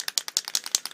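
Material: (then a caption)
Metal. A metal aerosol spray paint can, warmed in warm water first, is shaken before spraying a Tamiya Challenger 1 Mk3 model tank kit, letting the ball rattle to mix the paint. About ten quick, bright, high rattling clicks follow one another evenly, each short and dry with almost no low end. This is the normal rattle that gives the "rattle can" its name.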